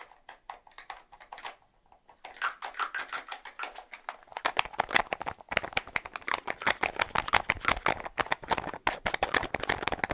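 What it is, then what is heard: Plastic deodorant stick. Fingernails tap rapidly on the light blue plastic cap of a small, hollow, white plastic deodorant tube. Light, scattered clicks start things off, followed by a brief near-silence, and then the tapping builds into a dense, fast, uneven stream of bright, dry plastic clicks. The clicks get louder after the midpoint and die away almost instantly.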